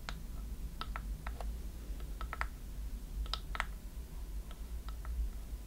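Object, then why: Small wooden chest box with metal clasps. A small hollow wooden chest box with metal clasps is tapped quickly with long nails on its front and sides. The result is a run of short, sharp, clicky taps with a bright edge, each dying away almost at once, over a steady low hum.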